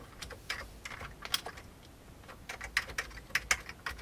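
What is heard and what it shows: Right-hand fingertips type on the keys of an old beige plastic computer keyboard. The result is an irregular run of quiet, bright, dry clicks with sharp attacks that die away almost instantly, centred around 2 kHz with very little low end.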